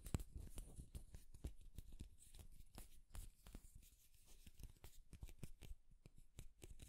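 A light wooden comb is held horizontally while fingernails run across its teeth, scratching and strumming. The result is a quiet, rapid stream of short, dry clicks and ticks. Each tick dies away almost at once, with low-weighted thumps and faint bright edges.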